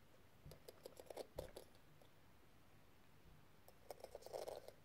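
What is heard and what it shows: A small, flat, hollow metal case covered in pink square plastic gems is held in the palm while a thin metal tool tip scratches across the rows of gems. Quiet, rapid clicking ticks with a pitched ring near 520 Hz and bright edges come in two bursts, one early in the clip and one near the end, with near-silence between them.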